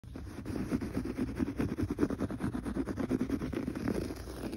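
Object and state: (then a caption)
Textured pile carpet. Fingertips scratch quickly across gray looped or textured pile carpet on a floor, next to a metal threshold strip. The sound is a steady run of rapid, dull, low-pitched scratching strokes that stop dead with no ring, continuing throughout the clip.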